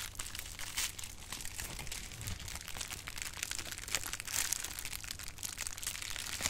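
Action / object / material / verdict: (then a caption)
scrape / plastic bubble wrap / plastic / none. Rolled clear plastic bubble wrap has its bubbles popped and squeezed with fingers. Continuous bright crinkling and crackling fills the clip, with sharp little pops scattered throughout over a faint low hum.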